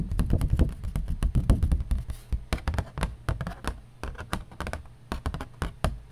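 A piece of cardboard is tapped with quick, irregular taps, giving dull, low thuds with short, soft clicks and almost no ring. The tapping is denser and louder in the first seconds, then thins out into lighter, more scattered taps.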